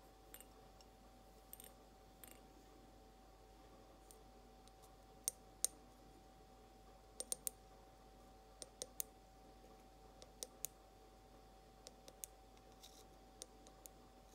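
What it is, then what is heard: Glass mason jar tapped with fingernails. Long almond-shaped nails tap slowly on the base of an empty, clear glass mason jar held bottom-up. Sixteen sharp, bright clicks sound at irregular intervals, each dying away almost instantly, over a quiet background with a faint steady hum.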